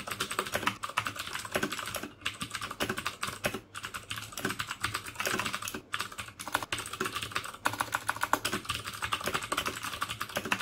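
Fingertips type steadily on the keycaps of a black plastic mechanical keyboard with clicky Cherry MX Blue switches. They produce a rapid, continuous stream of sharp, bright clicks with a few brief pauses between bursts.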